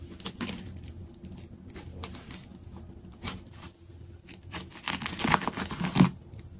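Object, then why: Layered plastic tape ball. A large, layered plastic tape ball is cut with a craft knife, and then its layers are peeled apart by fingertips. Irregular tearing and crinkling bursts sit over a low hum, with bright, sharp peaks. The sound grows louder toward the end, with the strongest tears near the close.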